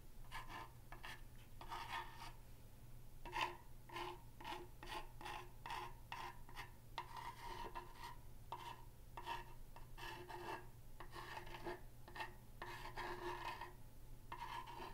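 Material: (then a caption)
Wood. A thin pen-like tool scratches the lower planks of a large, solid wooden plank sign with painted lettering, held tilted. It makes a steady run of quiet, rasping scrape strokes with a pitched tone around 1 kHz and bright upper overtones. A constant low hum sits underneath throughout.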